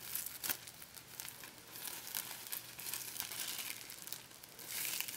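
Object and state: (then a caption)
Clear plastic packing tape. A crumpled wad of thin, sticky clear plastic packing tape is pulled apart and stretched between fingertips close up. It makes a quiet, bright crinkling and crackling with sticky peeling ticks and almost no low end. The sound comes in uneven bursts, swelling slightly near the end.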